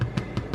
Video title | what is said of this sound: Old Milwaukee Sourdough Rye Bread | you can hear it nice and hollow